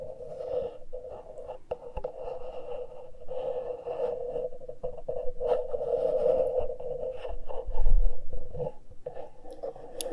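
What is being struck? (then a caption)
Metal mesh microphone grille. Fingertips and nails scratch and pinch the exposed metal-grille X/Y microphone capsules on a small handheld Tascam recorder. The result is a close, continuous scratching and rustling with a steady midrange hum and low thumps, swelling to its loudest near the eighth second before settling back down.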